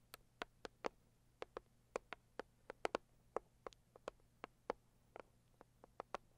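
Long acrylic nails tap and scratch the lid of a closed, hollow, medium-size pink floral Saviland cardboard gift box. About twenty quiet, sharp, dry clicks come at an irregular pace with almost no ring. A low, steady hum sits underneath.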